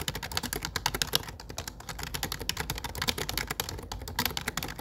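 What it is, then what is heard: Plastic computer keyboard. Fingertips type fast on the dark grey plastic keycaps of a low-profile plastic computer keyboard with a grey frame. The result is a dense stream of rapid, bright, clicky taps that stop dead with no ring, over a faint low rumble.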